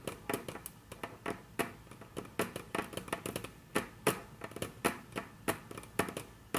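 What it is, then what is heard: Wooden tabletop tapped with fingernails. Very long natural nails tap on a flat, solid, dark brown wood-grain tabletop in a quick, irregular series. Each tap is a short, dry click that fades almost at once, with some louder taps among softer ones.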